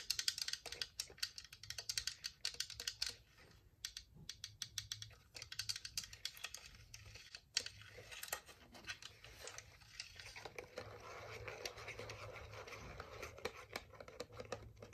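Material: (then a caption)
Plastic. Fingernails tap rapidly on plastic UV nail lamps, making dense bursts of crisp, bright, clicky taps that stop dead with no ring. The tapping pauses briefly around four seconds and near ten seconds, then turns into a softer, steady scratchy patter.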